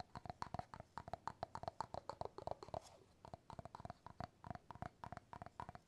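Fingertips and nails tap and scratch the bamboo lid of an empty glass jar. Quick, dry taps ring with a hollow mid-pitched tone, with a brief soft scratch near the middle. The taps stop instantly with no ring.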